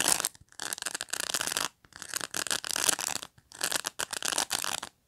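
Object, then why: Plastic pin bristles of a pet brush. Fingernails pinch and scratch along the edge of the plastic pin bristles on a black pet brush, up close. Bright, dry, crackling rasps come in several bursts separated by brief silences, with almost no low end.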